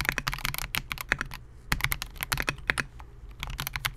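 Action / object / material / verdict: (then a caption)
tap / mechanical keyboard with polycarbonate case and plastic keycaps / plastic / none. Fingertips of both hands type continuously on a Melgeek MOJO68, a compact 68-key mechanical keyboard with Gateron G Silver Pro switches, a clear polycarbonate case and SA-profile plastic keycaps, resting on a desk mat. About 21 short, bright, clacky keystrokes come in quick bursts with brief pauses between them. Each stroke stops sharply against a faint low hum.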